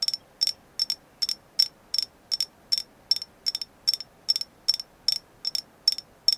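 A thin, flat, hand-sized solid slice of painted agate is tapped with long nails. A steady run of about twenty quick, sharp clicks, some coming in pairs, each with a bright high ring that dies away almost instantly.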